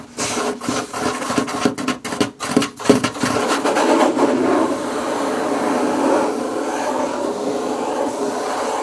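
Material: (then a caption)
Wood. Fingers and fingerpicks scratch and tap on a wooden table. In the first three seconds, a fast, uneven run of light taps and scrapes is heard. It gives way to a steady, mid-pitched rasping rub that continues to the end.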